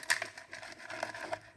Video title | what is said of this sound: CROSSFOX COM BARULHO NO MOTOR E COM SURPRESA AO ABRIR | tá cheio de pedaço de dentro alto já saiu de pedaço aí dentro do coletor de descarga